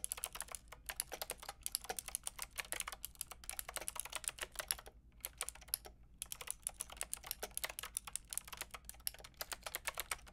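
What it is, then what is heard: Plastic mechanical keyboard being typed on. Long painted nails and fingertips type on a white-and-pink Lofree mechanical keyboard with round plastic typewriter-style keycaps and a hollow plastic case. The result is a fast, steady stream of sharp, bright plastic clicks and clacks with only brief pauses. Each keystroke stops almost instantly, and there is only a faint low hum underneath.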